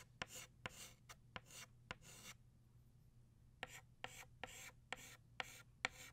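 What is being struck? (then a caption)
Chalk stick on a chalkboard. An orange chalk stick scratches and rubs across a flat black chalkboard, shading a flower in quick strokes. About twelve sharp taps each open into a short, bright, rasping scrape, with a pause of about a second in the middle. The sound is quiet and dry, with no ringing after each stroke.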